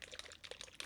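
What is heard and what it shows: A bottle of thick blue indigo pearl paint with a small mixing ball inside is shaken to mix it before it gets reduced for airbrushing. Quick, bright rattling clicks and a sloshing liquid sound come in short bursts over under a second.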